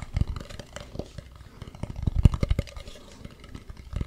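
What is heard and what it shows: Fingertips tap and scratch the smooth dark back and the carved front of a hollow carved wooden mask. Quick, irregular, dull taps with a low, hollow thump and almost no ring are mixed with faint soft scratching, with the strongest knocks clustered in the middle.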